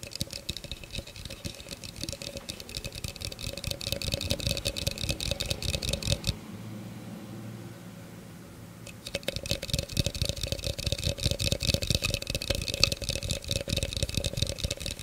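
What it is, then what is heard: Plastic blender cup. An empty, hollow clear plastic blender cup with a threaded rim is held in one hand and rapidly tapped and scratched with the fingertips and nails, making a dense stream of bright, dry clicks and scrapes. Around the middle, the tapping stops for about three seconds, leaving a quieter, steady low hum. The rapid tapping and scratching then resume until the end.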